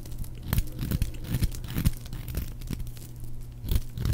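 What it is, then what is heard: Dry soap bar being shaved. A metal blade shaves and cuts a solid, palm-sized, oval bar of dry white soap, and crumbly white flakes come off it. The result is irregular, dry, crunchy scraping and crackling, with short, sharp bursts over a low, dull body.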